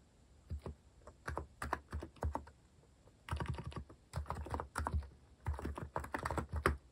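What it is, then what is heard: Plastic mechanical keyboard. Fingertips type on a compact Hanmumu mechanical keyboard with a white plastic case and plastic cat keycaps. Quick bursts of keystrokes come in clusters separated by short pauses, each press a short, muted, low clack that dies away almost instantly.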